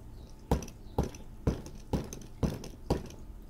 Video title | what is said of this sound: OutDoor Master 20Psi Air Pump "The Shark" Review | you can hear the firmness of it when i hit it i mean it's pumped it is it is full